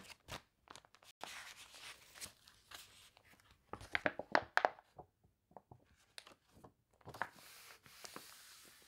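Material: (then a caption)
Glossy paper. Long dark-painted nails and fingertips flip and rub the water-warped, wavy pages of a thick glossy paper toy catalog lying on a table. Dry crinkling and crunchy rustles come in short, uneven bursts. The loudest, sharpest crackles fall in the middle, followed by quieter scratchy page rubbing.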